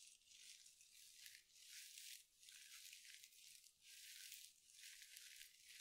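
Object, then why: Mesh-covered scrub sponge. A hand-sized soft sponge covered in glittery synthetic mesh is squeezed and scratched with long nails. It makes bright, dry crinkling and scratching in about five rising and falling bursts, with almost no low end and very little ring after each.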